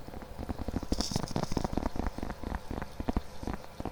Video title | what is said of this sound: ASMR 🐻 Mic Test + Assorted Triggers (Soft Spoken) | tapping on my wallet. There's something about that like pillowy kind of material.